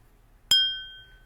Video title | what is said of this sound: Top 10 Disney Parks Snacks - Part 2 featuring Bradley Steven Perry (Good Luck Charlie) | that little Ting right there that's the little China